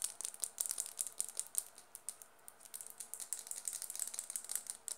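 A small, hollow black plastic mascara tube with a silver band is tapped and scratched with long dark nails. The result is a fast, uneven run of sharp, bright clicks and scratches that are almost all high-pitched, with a brief quieter gap near the middle.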